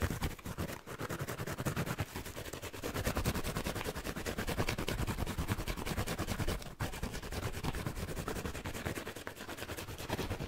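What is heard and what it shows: A palm-sized yellow foam kitchen sponge with a green abrasive scouring layer, held in both hands, is scratched fast and roughly with fingernails and fingertips. The result is a dense, continuous rasping crackle of rapid strokes, heavy in low rumble with a bright scratchy edge. It stays steady throughout, with only brief pauses near 0.8 and 6.7 seconds.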